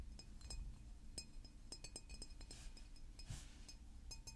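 A large green glass mineral water bottle with a paper label is held in the hands and tapped with fingernails. The result is a quiet, irregular series of light clicking clinks with bright, very short ringing over a low background rumble.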